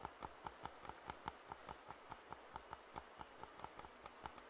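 Fingertips tap quickly on the hollow earcups of white and black plastic over-ear headphones held in both hands. There are 22 short, dry hollow taps with a clear pitch near 880 Hz and a brief bright click on top. They come at a steady, fast pace over a faint hiss.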